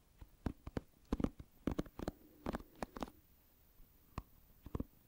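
Fingertips scratch across the pin bristles of an oval plastic paddle hairbrush held with its bristles facing the microphone. The result is quiet, short, dry scratchy bursts in irregular quick clusters, mostly low-mid in tone, with a brief lull before a few final strokes.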